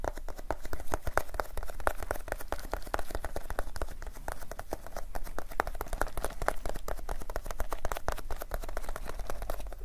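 A small, flat paperboard Extra chewing gum pack, likely holding gum pieces, is held in both hands close to the recorder and tapped and handled with fingertips and nails. Rapid, dry, sharp clicks and taps run steadily throughout, centered around 625 Hz with bright crackly edges over a constant low rumble, each tap dying away almost instantly.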